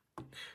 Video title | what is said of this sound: Frodo is Shaking in His Boots! - Reaver Arms Citadel Flashlight Full Review | it kind of like slides and bounces off the walls